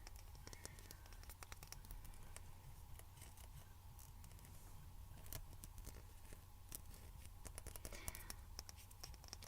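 A plastic face moisturizer jar, not glass, is tapped and scratched by fingertips. Many quick, dry clicks and scratchy sweeps with almost no ring sit over a steady low hum, all at a quiet level.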